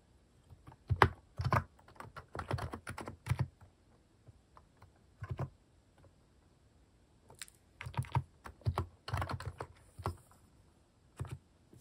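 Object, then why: Plastic mechanical keyboard keys. Fingertips type at a slow pace on a plastic mechanical keyboard with cat-shaped plastic keycaps, pressing keys one at a time. Short, dry, low clacks come in loose bursts separated by quiet pauses, each press fading almost instantly.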